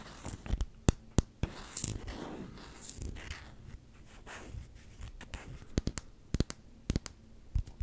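A small solid black rubber hockey puck with a round Canucks logo sticker on its face is held close to the microphone and scratched and tapped with short fingertip nails. Sharp, dry clicking taps cut in between soft rasping scratch strokes that swell and fade, over a low background rumble of outside noise.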